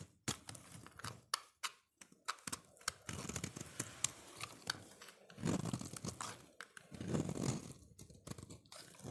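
A solid green soap bar, held in the hand, is carved and scraped with a utility-knife blade into curls and shavings. Sharp, crisp clicks of the blade biting in alternate with longer, dry crunchy scraping strokes that rise and fall. The strokes carry bright, crackly detail over a softer low rasp.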